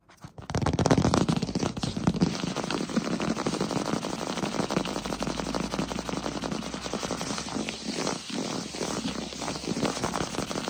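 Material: Wood.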